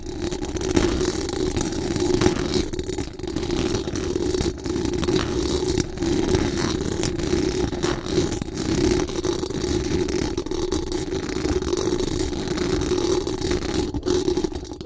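Very long acrylic nails scratch fast and hard across the hollow metal mesh dome grille of a large condenser microphone. The result is a dense, continuous rasping roar, with a steady tonal band near 370 Hz over a thick low rumble and only brief dips in level.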